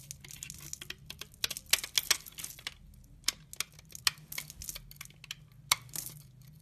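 A utility knife blade shaves crumbly chips from the edge of a solid brown laundry soap bar held in the hand. Dense, crisp scraping and crackling ticks come in rapid bursts, bright and dry with almost no low end, while a faint low hum sits underneath.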